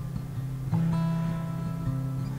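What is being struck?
Nothing is struck.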